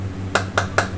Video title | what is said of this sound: Les secrets du caviar Petrossian - Coulisses #7 - VANITY FAIR | il y a un tout petit peu d'air dans la boîte. Donc ça, c'est pas bon